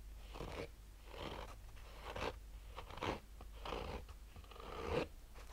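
Fingernails slowly and sparsely scratch a black oval, textured fabric-covered hard-shell sunglasses case with a hollow rigid shell. Soft, raspy scrapes rise and fade in separate strokes over a quiet, steady low hum, with a slightly louder, fuller scratch near the end.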